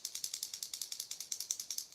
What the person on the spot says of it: has a loud loud knock one knocker sound in that that you can hear from a mile away